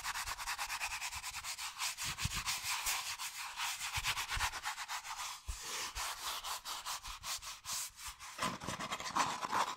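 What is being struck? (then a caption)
Hand-sized molded paper pulp cone. Long nails and fingertips rapidly scratch and rub a hollow, empty, hand-sized cone of brown molded paper pulp or cardboard. The result is a fast, steady series of dry, papery scraping strokes, bright and hissy with a rasp centered around 1 kHz and almost no low end.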